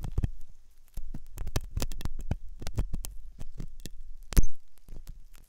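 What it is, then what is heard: Silicone dummy ear scraped with a metal hook. A thin steel dental hook scratches and scrapes inside the ear canal of a solid, soft white silicone dummy ear on a binaural microphone. Close, deep scuffing and thudding scrapes come in quick bursts, with bright ticks on top. One louder scrape lands near the end.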